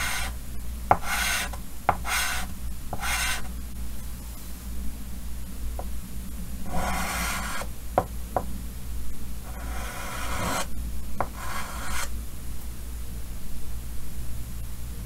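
Fingers draw ear and head lines with white chalk on a large solid chalkboard set in a green wooden frame. Short sharp taps of chalk meeting the board are followed by bursts of bright, gritty scratching and rasping as each stroke is drawn. A steady low hum runs underneath throughout.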